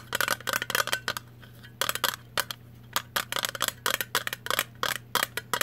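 Long nails tap and scratch the rim of a blue Vlasic metal jar lid held on edge, making quick bright clicks and scrapes in uneven clusters with short pauses between them. Each hit is crisp with almost no ring, over a faint steady low hum.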